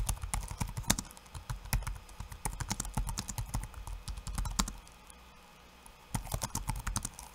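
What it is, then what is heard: Plastic laptop keyboard. One hand's fingertips type quickly on a backlit laptop keyboard with plastic keycaps, producing a rapid run of short, dry clacks with a low thump and a bright click on each keystroke. The typing goes quiet for about a second near the five-second mark, then resumes in a brief final burst.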